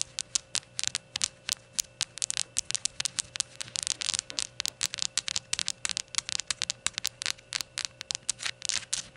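Long nails scratch the unglazed white base, with its printed label, of a small, hollow, empty glazed ceramic shot glass and tap its glossy rainbow glaze. About 46 quick, dry, bright clicks and scratches come with almost no ring, over a faint steady hum.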